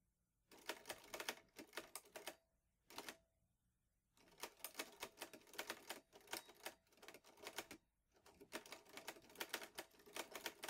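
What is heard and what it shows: Fingertips type steadily on the keys of a vintage teal metal Underwood Olivetti Lettera 22 portable typewriter with paper loaded. Crisp, bright key clacks come in quick runs separated by short pauses, with one brief isolated burst near the three-second mark. Each strike dies away almost instantly, with no low-end weight.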